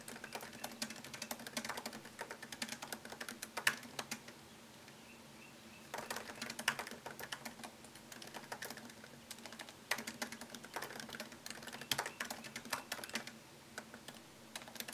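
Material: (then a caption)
Plastic. Fingertips tap fast on a MacBook Pro keyboard, whose low-profile plastic keys sit in a thin solid aluminum chassis. Bursts of dense, light, bright clicks run in flurries, with brief quiet pauses around the middle and near the end. Each click is short and dry, with almost no low end.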